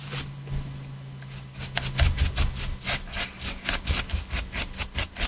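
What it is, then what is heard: Plastic game controller being brushed. A small stiff detailing brush, held in gloved hands, scrubs the surface of a black PS4 controller with a hollow hard plastic shell lying on a dark mat. After a quiet start with a low steady hum, a rhythmic run of about ten short, bright, scratchy bristle strokes builds up, each with a dull low thump beneath it.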